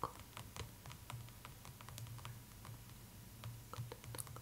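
Long acrylic nails tap and drum quickly on the glossy front cover of a large, closed hardcover art book, "The Art of Spirited Away," lying flat on a cloth table. The result is soft, short, bright clicks over a faint, steady low hum.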